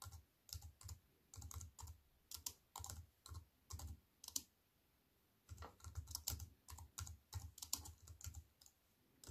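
A compact wireless keyboard with black plastic keys in a thin silver aluminium frame sits on a wooden table and is typed on with fingertips and long white nails. Quick bursts of short, bright key clacks with a soft low thud underneath come in uneven runs. The typing pauses for about a second midway, then picks up again at a faster pace.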